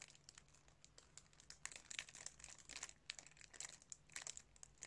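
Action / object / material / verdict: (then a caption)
scrape / plastic DVD case in thin cellophane wrap / cellophane / none. A plastic DVD case, still sealed in its thin cellophane wrap, is held in both hands while fingertips crinkle and rub the wrap. Quiet, bright crackles and crinkles come in quick, uneven bursts with no low body and no ring. A soft, low hum sits underneath.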